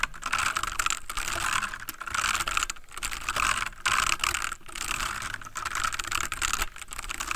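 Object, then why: Plastic mechanical computer keyboard. Fingertips of both hands type rapidly on a full-size backlit plastic mechanical computer keyboard. The result is a dense stream of short, bright plastic clicks with almost no ring, centered around 1.5 kHz. The clicks come in bursts separated by brief pauses.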